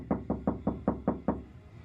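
Seven evenly spaced knocks on the bare steel rear quarter panel of a Honda Prelude that has no sound deadening. Each knock gives a hollow, tinny thud with a ringing tone around 200 Hz that dies away quickly, the same sound as the untreated door.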